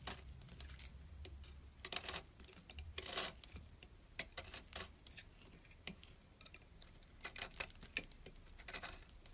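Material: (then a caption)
Soap. A small metal blade slices thin strips from a solid orange bar of soap. Quiet, crisp scraping and crackling bursts come in uneven clusters, bright and dry with no ring, over a faint low rumble.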